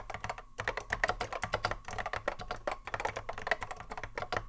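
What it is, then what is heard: Mechanical keyboard typing. Continuous touch typing with the fingertips of both hands on a cream Apple M0110A keyboard, which has a hollow plastic case and Alps SKCC mechanical switches and sits on a wooden desk. A fast, dense run of short clacky keystrokes with a crisp midrange click and a faint low thump sounds on every press and dies away almost at once.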